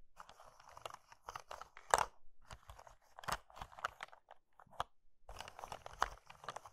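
Fingers with long red nails press, scratch and lightly crunch hollow pink and blue dry soap curls piled in a pink soap bowl. Many short, dry crackling crunches come in clustered bursts with brief quiet gaps, mostly in the mid range. A sharper, louder crunch stands out near the two-second mark.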